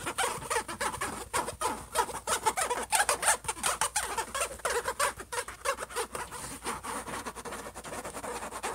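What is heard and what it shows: Fingertips and nails of both hands scratch and tap the closed silver metallic-look lid of an HP laptop. Quick, uneven taps mix with dry, high scratching that rises and falls throughout.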